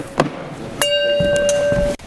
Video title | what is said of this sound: MythBusters S03E13 Breaking Glass | some of these are a little more dead than the others if you flick it now hear how that rings